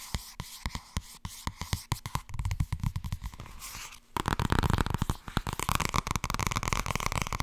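Fast tapping on the softcover book "Blijkbaar wordt het toch ergens als je er niets aan doet" produces short, dry taps with a low, papery thud. The taps start spaced and soft, then turn into a denser, louder flurry with crisper, brighter clicks after about four seconds.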